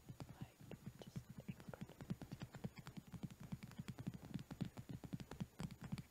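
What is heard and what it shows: A small hand brush with a cream handle and stiff natural bristles, lying on a fluffy blanket, is tapped and scratched along its handle and bristles with fingertips and medium nails. It makes a quick, steady run of soft, dull, low taps that die away at once, with faint scratchy bristle texture between them.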